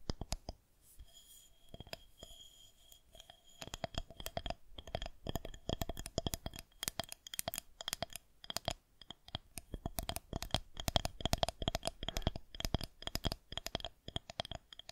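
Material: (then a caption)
Plastic. Long nails tap and scratch the top of a solid white plastic rolling pin gripped in both hands. Sparse, quiet scratching in the first few seconds gives way to a dense run of rapid, dry clicking taps with very short decay. A faint steady tone hums underneath throughout.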